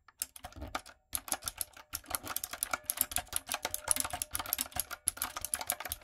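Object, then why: Mechanical keyboard with round plastic keycaps. Long nails and fingertips type on a retro typewriter-style backlit mechanical keyboard with round plastic keycaps. A quick, steady run of sharp, bright clicks and clacks follows, broken by two brief pauses near the start. Each keystroke stops almost instantly, with little low-end thud.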